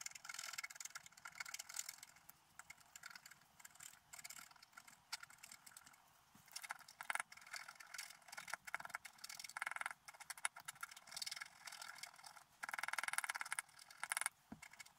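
A wooden stylus scratches the coating near the upper right of a flat, black-coated scratch art sheet lying on a table. Dry, bright, rasping strokes come in short bursts separated by quiet pauses, with almost no low-end body.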